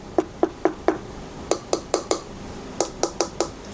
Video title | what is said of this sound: Hifiman HE-R9 vs HE-R10D - Worth the Price Difference? | When you knock on them, you can hear that the R9 is made from pretty thin plastic.